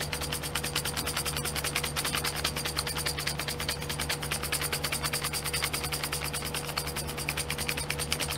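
Fingernails rapidly tap and scratch the lids of small clear domed plastic glitter pots sitting in a pink plastic tray held in the hand. The result is a fast, steady stream of bright, crisp plastic clicks and scrapes over a faint low hum.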